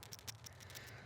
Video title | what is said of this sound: Parts Arrive For The Crosstrek: Time To Get To Work | got the nickname of being rattle valves because basically when they're good